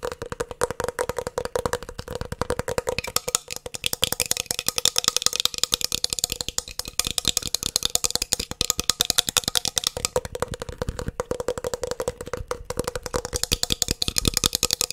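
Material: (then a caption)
Metal. A solid 3.5-inch hard disk drive with a metal casing and a green circuit board is held near the mic and tapped and scratched with fingertips and nails. Rapid, dense streams of short, dry, bright clicks and scratchy rattles run throughout, with a steady tone near 500 Hz underneath. The hits are crisp and die away almost instantly.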